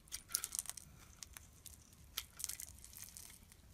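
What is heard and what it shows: A metal blade scrapes shavings off the surface of a solid oval black-and-white striped bar soap held in the palm. Quiet, bright, crisp crackling scrapes come in short bursts, clustered at the start and again near the end, with a faint low rumble underneath.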